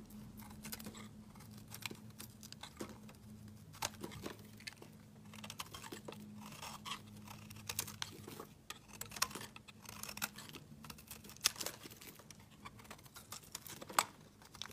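A solid white, hand-sized soap bar held in the hand is shaved with a utility knife blade, and flakes break off. Quiet, bright, crisp scraping and crunching cuts come at an irregular pace over a faint, steady low hum, with a few sharper snaps standing out.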